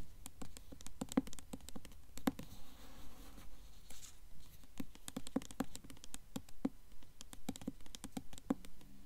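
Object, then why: Hardcover book with glossy paper dust jacket. Long nails tap and scratch across the glossy paper dust jacket of a blue Mockingjay hardcover book held upright. Quick, irregular, dry clicks patter across the cover, with a brief soft scratching stretch between them. Each tap is short and dead, with no ring.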